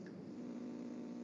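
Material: Nothing is struck.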